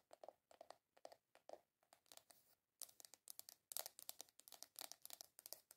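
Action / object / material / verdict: tap / small round plastic container / plastic / none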